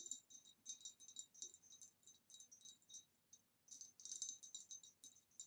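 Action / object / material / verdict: tap / ribbed glass vase / glass / none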